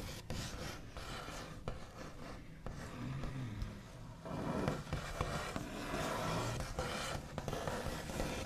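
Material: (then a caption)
Wood. The backs of long nails scratch fast across a flat, solid, white-finished wooden tabletop. The result is a dry, rough rasping with a low, woody body, broken by irregular sharp ticks. Each sound stops almost at once, with no ring.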